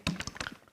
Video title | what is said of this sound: '우리는 미래에 살고 있다' 10월 북콘서트: 해저도시의 건설을 꿈꾸다. | 왜 소리가 들리냐면 이렇게 출렁출렁하면서 이 벽면을 세게 충격을 가기 때문이죠